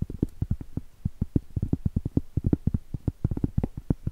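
Long stiletto acrylic nails tap quickly over the edge and surface of a round solid cork trivet. It makes a rapid, uneven run of short, dull, low-pitched clicks and thuds that stop at once with no ring.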